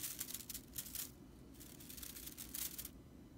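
Long purple-painted nails scratch and rake across the dry, light, fibrous tips of a dense fan of natural straw (broomcorn) bristles on a whisk broom lying on a wooden table. Bursts of bright, crackling rustle come in three clusters, near the start, around the middle and shortly before the end, over a faint low rumble. The sound stays quiet, with each scrape cutting off almost at once.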